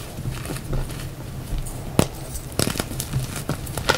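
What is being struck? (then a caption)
Reformed gym chalk block. A solid pale yellow reformed gym chalk block is snapped and crumbled in both hands, then fingers crush and rub the dry powder and pieces in the pile. A low, gritty rustling runs throughout, broken by sharp, bright crackling snaps with almost no ring, the loudest near the middle and toward the end.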